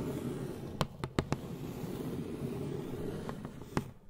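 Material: Cardboard.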